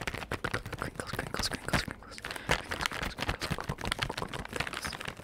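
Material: Soft plastic.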